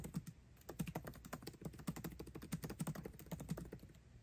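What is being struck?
Laptop keyboard with plastic keycaps in an aluminium body.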